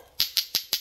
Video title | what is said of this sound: SIÊU PHẨM VỪA VỀ, máy khoan pin, đầu chuyển bu lông, bấm ghim bãi nhật, dây thít cân kí | khi mà các bác gõ vào với nhau thì nó cái tiếng kêu nó cộc cộc này thì các bác Chứng tỏ là Thìa nó rất là dày luôn đấy